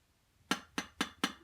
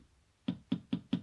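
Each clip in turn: First: glass focusing screen, sounds like glass. Second: plastic Fresnel screen.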